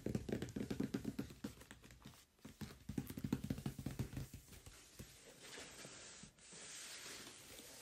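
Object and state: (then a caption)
Cardboard box tapped and rubbed. Fingertips and nails of both hands tap and rub the top and front edge of a large, closed cardboard microphone box. Quick, irregular hollow taps with a low, boxy thump fill the first five seconds, then give way to a softer, steady scratchy rubbing.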